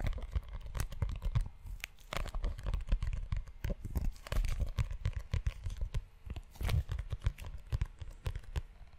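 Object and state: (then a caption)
Leather-covered notebook being scratched. Fingertips and nails scratch and rub the cover and spine of a closed, solid brown leather-bound notebook. The result is a dense run of short, dry scratches and rubs, with crisp crackling transients over a soft, low-heavy body. Brief pauses break the texture throughout.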